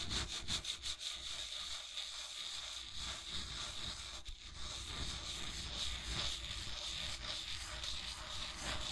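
Fingertips and nails rub and scratch the textured body of a steel-lined resin tankard. It makes a steady, bright, papery scraping with an irregular rhythm and a persistent high hiss, over a faint low rumble. The strokes blend into one another with no clear breaks between them.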